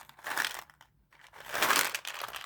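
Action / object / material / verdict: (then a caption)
shake / pinto beans in a bottle / dry beans / dry. Dry pinto beans in a bottle are tilted from one side to the other, giving two bright, dry rattling rushes as the beans slide and clatter against each other. The sound is mostly crisp hiss and grainy clicks in the upper range, with no low-end body, and a short near-silent pause between the two passes.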